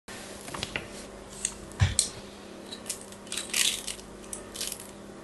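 A small, solid pink-and-white striped bar of soap, held in one hand, is carved with a small metal craft blade as flakes fall away, while a second bar sits unused nearby. Short, dry scratching and scraping strokes come in irregular bursts, each crisp and bright with little ring, over a faint steady low hum. One stroke near the middle adds a soft low thump.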